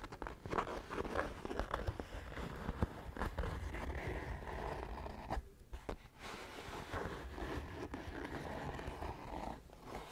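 Fingernails scratch a soft, hollow brown leather pouch with a woven or quilted texture. The result is a dense, continuous, muffled rustling scratch, heavy in the low end with little brightness. It dips briefly quieter near the middle before resuming.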